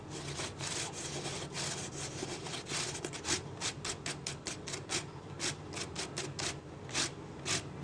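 Fingertips rub and scratch the ridged body of a clear, hollow, apparently empty plastic drink bottle held sideways with its base forward. The result is a string of bright, dry, hissing scratch strokes in an uneven rhythm over a faint low rumble.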